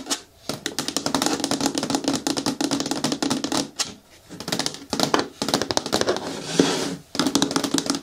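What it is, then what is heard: Hard plastic bin with lid. Long nails tap rapidly on the lid edge and side wall of a hollow, hard green plastic bin with a lid, turned on the table. The dense runs of clicky, hollow-sounding taps carry a resonant low-mid tone and bright clatter, broken by brief pauses.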